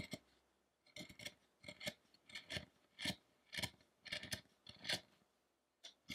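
A narrow steel chisel pares across the torso of a solid carved wooden Buddha statue lying still on a dark table. It makes a series of short, irregular, bright rasping scrapes, each cut sending off chips with quiet pauses in between.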